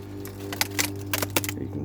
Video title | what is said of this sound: Just to dry for Gunnera | you can just hear how crispy that leaf is